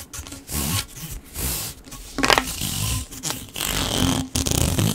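A hollow blue corrugated plastic pop tube is compressed and stretched in the hands while fingers rub along its ridges. The result is a run of raspy, scraping bursts with bright, crackly ridged texture, a faint tone around 3 kHz, and a soft low rumble between the strokes.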